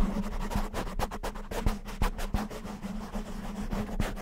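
A black, soft, porous foam windscreen covering a handheld-size microphone is scratched and rubbed with the fingertips and short nails of both hands. The result is a dense, muffled, low-heavy scratching with a steady low hum, broken by sharp, quick-fading clicks and thumps.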